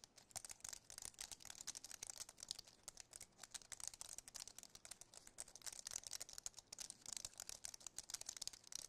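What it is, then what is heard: Aluminum and plastic computer keyboard. A slim white Apple keyboard with an aluminum base and plastic keys is held up while its keys are tapped and pressed with the fingertips. The result is a quiet, steady stream of rapid, crisp plastic clicks and taps, bright and high-pitched with almost no low end, each click dying away instantly.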